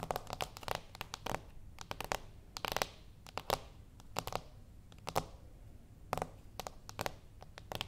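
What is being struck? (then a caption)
Small cardboard box. Long acrylic nails on both hands tap a small, flat, closed cardboard gift box resting on a wooden table. The result is quick, dry, clicky taps in irregular bursts and flurries, with bright attacks that die away almost at once, over a faint low background rumble.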